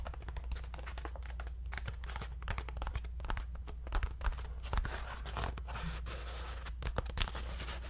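A hollow, round, ribbed paper lantern is held in both hands and tapped and scratched with fingertips and nails. Quick, dry crinkling taps and scraping rustles come in dense, uneven bursts. A steady low hum runs underneath throughout.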